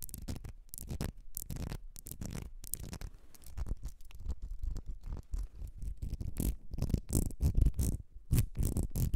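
Long nails scratch along the ridges of a small ribbed glass perfume bottle with a gold cap, held in the hands. The result is a dense, irregular stream of quick, dry rasping strokes, heavy in low rumble with brief bright edges, growing louder and more clipped toward the end.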